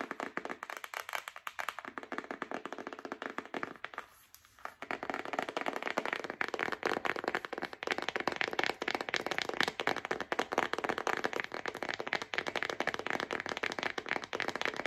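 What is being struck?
Printed cardboard box holding paper.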